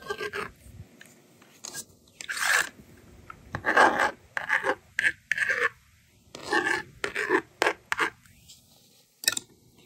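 A yellow plastic stylus writes numbers across the honeycomb screen of a small blue and pink plastic magnetic doodle board held in hand, making short, dry, scratchy strokes in quick bursts with pauses between them. The screen is also erased with the slider, adding a rasping scrape among the bright, raspy scratches.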